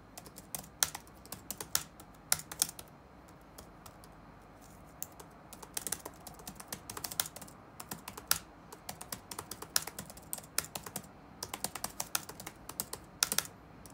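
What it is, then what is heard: Plastic laptop keyboard being typed on. Fingertips type on the black plastic keycaps of a dark laptop resting on a wooden desk. Quick bursts of crisp, bright tapping clicks stop and start with brief pauses, each tap dying away almost instantly over a faint low hum.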